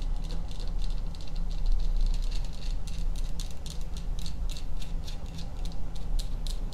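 A small hollow tealight holder shaped as a cluster of skulls, likely cast resin, with a pink candle in the top, is held in both hands close to the mic and tapped and scratched with long painted nails. Quick, irregular bright clicks and scratchy rattles repeat over a constant low rumble, with an echo/delay effect smearing each tap.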